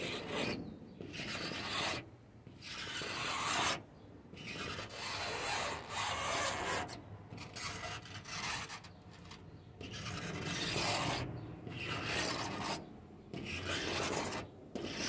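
Short fingernails scratch and rub across the flat panel of a white-painted wooden door. Bursts of dry, raspy scraping with bright hiss rise and fall, separated by brief quieter pauses.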